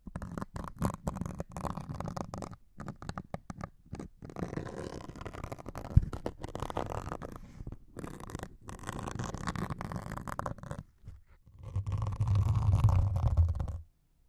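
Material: Melamine foam.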